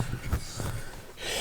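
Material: Nothing is struck.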